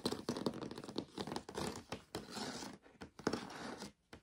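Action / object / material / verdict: scrape / plastic storage box / plastic / none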